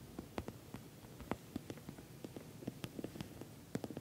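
Long nails tap the top and sides of a glossy orange patent vinyl cosmetic bag, soft-sided and filled. The result is an irregular series of quiet, short, dry ticks with a soft low-mid body and very little ring.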